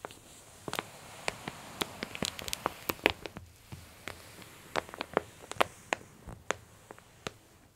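A flat hand presses and smooths the open spread of a glossy paper J. Jill women's clothing catalog, then long-nailed fingertips hold and squeeze its lower edge. About two dozen sharp, bright paper crinkles and ticks snap out over a faint hiss, each dying away almost instantly.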